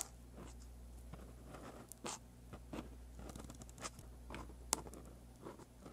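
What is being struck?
Pen nib on a paper sheet.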